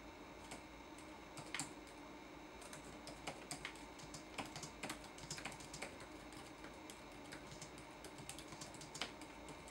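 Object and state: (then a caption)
Plastic laptop keyboard. Fingertips press the plastic keycaps of a red-backlit laptop keyboard, producing a quiet, irregular run of short, bright clicking taps. The taps die away quickly over a steady low hiss.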